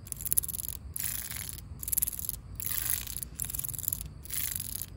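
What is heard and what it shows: Long pink acrylic nails run over the ribs of a corrugated yellow plastic safety cap, a hollow ribbed tube on top of a chain-link fence. Six bright, rasping scratches sound in a steady back-and-forth rhythm, each made of rapid clicks. A low outdoor rumble sits underneath.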